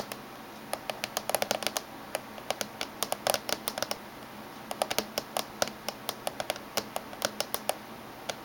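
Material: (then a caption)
Metal. Fingernails tap rapidly in a typing-like pattern on the top surface of a closed silver laptop. About forty short, sharp, bright clicks come in irregular bursts and pauses over a quiet, steady hiss. Each tap dies away almost instantly, with almost no low end.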